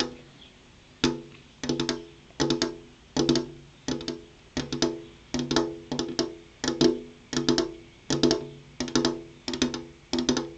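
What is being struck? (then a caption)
Glass window pane. The tips of long, purple-painted fingernails, held upright, tap a large, flat, solid glass window pane. Quick clusters of sharp, bright clicks repeat every second or so, each carrying a short, hollow tonal ring around 370 Hz that fades fast.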